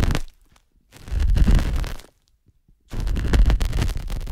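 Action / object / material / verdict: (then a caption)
scrape / silicone microphone ear scraped with a metal spatula / silicone / none. A thin stainless metal spatula is scraped and pressed inside the ear canal of a soft white silicone ear on a binaural microphone. Three bursts of close, deep rumbling scraping and crunching come through, with near-silent pauses between them.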